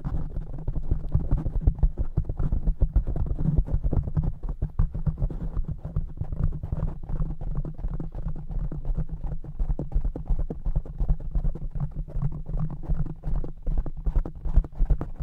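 A soft black foam windscreen on a large silver microphone is tapped rapidly with the fingertips of both hands. The result is a steady stream of muffled, deep thumps, almost all low rumble with no brightness, each tap dying away instantly.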